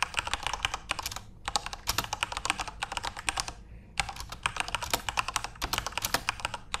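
Fingertips type continuously on a backlit plastic Corsair mechanical keyboard with RGB lighting. Rapid, bright, short clicks come in quick bursts, with brief pauses around 1.4 and 3.8 seconds.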